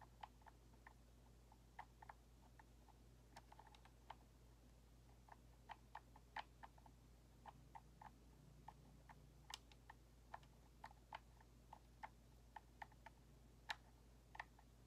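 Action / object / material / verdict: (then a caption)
tap / plastic game controller / plastic / none. A fingertip and nail click and tap the right thumbstick and buttons of a white, hollow plastic Xbox controller, making about 35 quiet, dry, sharp clicks at an irregular pace. Each click has a bright plastic snap that dies away almost instantly, over a faint steady low hum.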